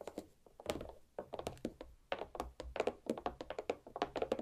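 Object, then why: Watermelon half on a plate, tapped with fingernails. Long black nails tap and knock on the solid dome of a large watermelon half resting on a plate. About 25 quick, quiet hollow thunks and clicks sit around 520 Hz, each dying away almost instantly, with faint bright nail clicks.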